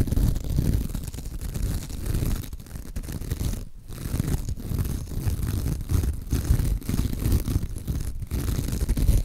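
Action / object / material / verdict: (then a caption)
scrape / glitter-coated foam sponge / foam / none. Long acrylic nails scratch the sparkly surface of a soft, porous, hand-sized pink glitter-coated foam sponge. It makes a steady, dense, muffled scratching rustle, heavy in low rumble with little high-end hiss, that briefly dips in a few short pauses.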